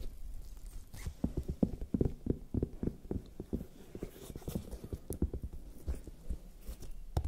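Long nails tap and lightly scratch a large, whole, raw red bell pepper with hollow, waxy skin. The result is a rapid, irregular series of soft, dull, hollow knocks that are mostly low in tone and die away almost instantly, with a few brighter clicks mixed in.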